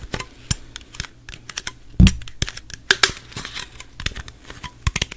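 Fingernails tap rapidly on the body and top of a gold Pepsi aluminum can, which appears unopened and is held in the hand near the microphone. About twenty sharp, bright, clicky taps with very short ring land unevenly, with a heavier thump carrying a low boom about two seconds in.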